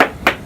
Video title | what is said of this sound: Haul Out And Survey For 94’ Lazzara Yacht “Lady Marea” | So he keeps on going all around and listening for the sound of his hammer against the hull.